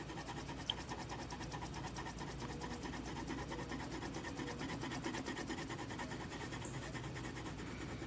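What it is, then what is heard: Paper sheet being shaded with a pencil. A yellow wooden colored pencil, held in the fingers, shades a foal drawing on a single flat sheet of white printer paper lying on a table, while the other hand steadies the sheet. It makes a continuous, quiet, scratchy rasp of repeated back-and-forth strokes with a faint bright edge. The level stays even throughout, apart from one small tick early on.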